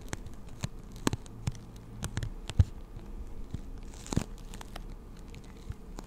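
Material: Plastic.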